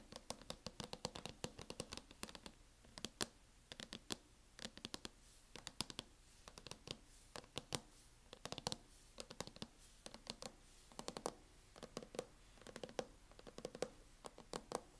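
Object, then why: Plastic laptop hard-shell case. Long acrylic nails tap and lightly scratch a closed MacBook in a mint matte plastic hard-shell case. The result is quiet, rapid clusters of sharp, bright clicks with very short ring, mixed with soft scratching.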